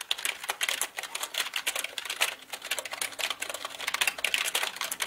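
Both hands type quickly with their fingertips on a black mechanical computer keyboard with plastic keycaps. The result is a dense, steady stream of bright, sharp plastic clicks that ring only briefly, with a main tone around 2.6 kHz and almost no low end.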